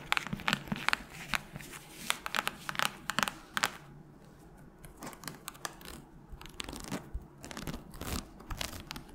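Long nails scratch and tap the cover and pale page edges of a solid red hardcover book that is held and tilted. Quick, dry, crinkly scrapes and sharp taps come thick and bright for the first four seconds. They then thin out into softer rustling with scattered clicks.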